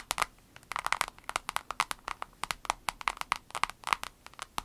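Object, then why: Soft vinyl case. An avocado-shaped vinyl case is tapped rapidly with the fingernails, making a quick, irregular run of crisp, typing-like clicks. Each tap is short and dry with almost no ring, bright with a focus around 1 kHz and almost no low end.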